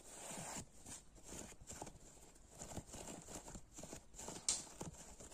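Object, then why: Foam kitchen sponge. Fingertips and short nails scratch and squeeze the cube tips of a dry, hand-sized, blue-purple foam kitchen sponge made of solid porous foam cut into a grid of small cubes. The sound is a quiet run of soft, scratchy rustles with a steady bright hiss on top and dull low thumps from the squeezing. One sharper scrape stands out near the end.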